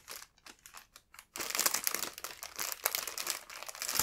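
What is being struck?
Thin clear plastic bread bag.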